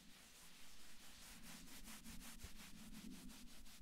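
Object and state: Cotton sweatshirt being rubbed.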